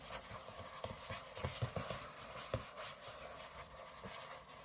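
Short fingernails on both hands scratch the aluminium lid of a closed space-grey MacBook lying flat on a table. Steady, dry rasping strokes carry a bright hiss, broken by a few sharper scraping ticks that die away almost at once.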